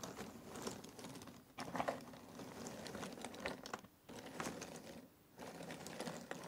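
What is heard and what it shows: A hand stirs cardboard jigsaw puzzle pieces in an open box and grabs them with its fingertips. The result is a dense, dry rustling clatter of quick light clicks, loudest just before the 2-second mark. It breaks into short near-silent pauses around 1.6, 4 and 5.2 seconds.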